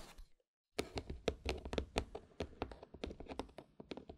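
Long, pointed dark-red nails tap and scratch across the lid and sides of a small, closed, hollow white cardboard gift box topped with a red satin ribbon and a large black button. After a faint scrape and a short silence, a quick, uneven run of dry, hollow taps follows, each with a soft mid-pitched knock and a very short decay, with light scratching between them.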